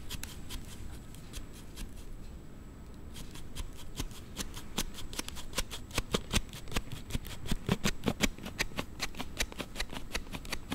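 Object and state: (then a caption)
Plastic slide phone case clicking on a smartphone. A Note7 smartphone in a hard plastic slide case is held in both hands while a thumb pushes the sliding part back and forth, making an abnormal rubbing sound. Rapid, irregular, bright clicks ride over a low scraping rub, quieter for the first few seconds and then sharper and louder through the rest of the clip.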